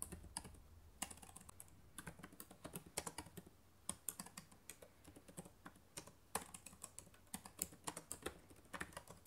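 Fingertips with long nails type fast on the plastic keys of a black laptop keyboard. It makes a rapid, uneven run of short, dry, bright clicks that stop almost instantly, over a faint low hum.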